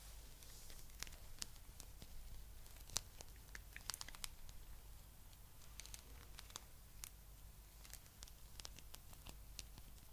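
Long nails scratch and rub a palm-sized blue spiky rubber massage ball. Quiet, crisp, bright ticks and scrapes patter irregularly throughout, each one dying away almost instantly. Underneath runs a steady low hum.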